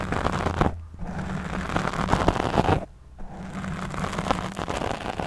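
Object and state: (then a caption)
Foam microphone windscreen being scratched. Long nails scratch a black foam windscreen fitted over a studio microphone while the other hand holds the mic. The result is a dense, crackly, close-up scraping that is heavy in the lows, with a faint steady low tone underneath. The scratching breaks off briefly twice, near the one-second and three-second marks, before resuming.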